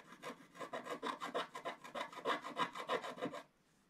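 A wooden stylus scratches the wax coating at the bottom of a flat sheet of scratch art paper, making about fifteen quick, rhythmic rasping strokes centered near 1 kHz with bright, airy edges. The strokes stop at about 3.5 seconds, leaving near silence.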